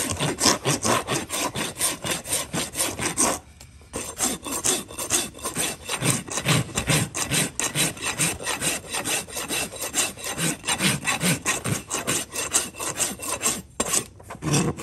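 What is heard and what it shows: A large steel rasp is drawn in repeated filing strokes across the sole and rim of a live horse's hoof, solid keratin, held between a farrier's knees. It makes a steady, gritty, bright scraping rhythm at roughly two strokes per second, with brief pauses near 3.5 and 14 seconds.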